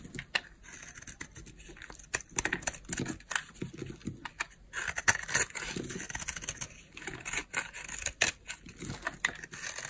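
A utility knife blade carves and scrapes a solid green oval bar of dry soap held in the hand, shaving off flakes. The result is a quick series of crisp, crunchy scrapes and cuts with a bright, papery texture, short sharp bursts and almost no low end.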